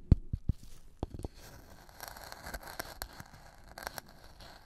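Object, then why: Wooden mortar and pestle with dry material. A black-gloved hand works a metal-tipped wooden pestle in a wooden mortar partly filled with dark, dry material, grinding and scraping. A few dull, low knocks open the clip, then give way to a steady, gritty scrape with bright, crackly bursts as the material is crushed against the bowl.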